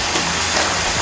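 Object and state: Nothing is struck.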